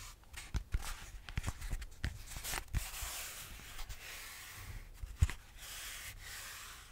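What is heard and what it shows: Fingertips and nails rub and scratch a solid grey foam yoga block, making dry, papery scratching and brushing sounds with a bright hiss. Short scrapes and occasional soft low thumps come at irregular intervals, then settle into a steadier, continuous rubbing.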